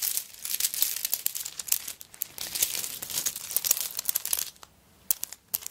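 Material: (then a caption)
Coconut shell. Long nails scrape and scratch across the surface of a handbag covered in coconut shell chips, held tilted. The result is a dense, bright, crackly scratching made of rapid dry clicks concentrated in the high range, with almost no low end. The sound briefly drops to near silence before a few sharp, isolated scrapes end the clip.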